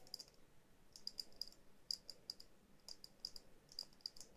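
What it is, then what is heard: Glass bell jar ornament. Long nails tap and scratch on a small hollow glass bell jar ornament with a jute base, held close. A quiet, irregular series of sharp, bright clicks with a high glassy ping, each dying away almost at once, over a soft scratchy hiss.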